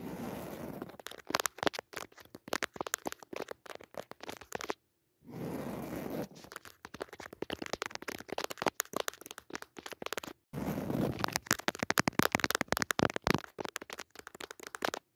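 Long nails scratch the textured surface of a soft, padded woven jacquard fabric cushion with a red leaf pattern. Dense, dry crackling scrapes are mixed with sharp clicks, in three bursts separated by brief silences. The scratching grows brighter and busier toward the end.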